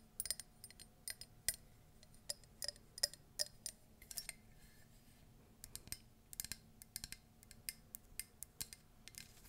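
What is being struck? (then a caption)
Ceramic mug. Long nails tap and scratch the side and base of a hollow, empty cream embossed ceramic Disney mug with feet and an animal-shaped handle. About thirty quiet, bright clicks and taps come in uneven clusters, each dying almost instantly with only a faint glassy ring. Softer scratchy rustles sit between them over a low, steady background.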